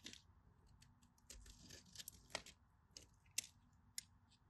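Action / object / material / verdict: scrape / bar of soap cut with a metal blade / soap / none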